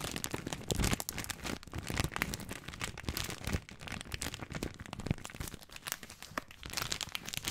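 Fingertips and nails scratch and crinkle the wrapper of a full plastic film bag of dry spaghetti. A dense, continuous stream of crisp crackles and rustling fills the clip, with bright, sharp snaps riding over a soft low rumble. The crinkling keeps a fairly steady intensity throughout.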